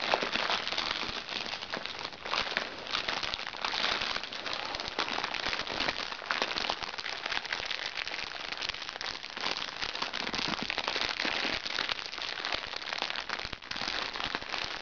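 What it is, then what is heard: Crinkly plastic makeup bag. Fingernails of both hands tap and scratch across a small, crinkly recycled plastic makeup bag lying flat. The result is a dense, continuous crinkling and crackling with quick taps, bright and hissy with almost no low end, holding a steady level throughout.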